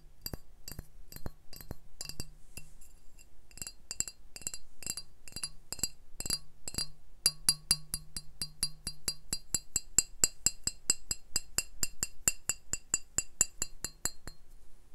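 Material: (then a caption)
Glass. A medium brown glass beer bottle with a printed plastic sleeve label, hollow and looking empty, is held in one hand and tapped along its body with fingertips and nails. Short, bright glassy clinks ring high and die out almost instantly, over a faint low hum. The taps come at an uneven pace at first, then grow faster and denser in the second half.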